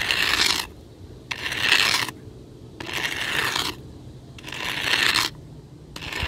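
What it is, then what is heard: Gravel ground scraped with a stick. The pointed end of a weathered wooden stick scratches across fine gravel and sand ground in five separate strokes. Each stroke is a bright, gritty rasp, with quiet gaps of low background noise between them.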